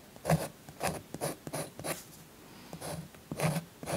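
A blue chalk stick held in the fingers scratches and rubs across a thin paper coloring book page lying flat on a soft pink cloth, while the other hand, with long nails, holds the page. A series of short, dry, scratchy strokes comes in separate bursts, each rasping bright and breathy over a soft low rumble. The strokes stop quickly, with quiet pauses between them.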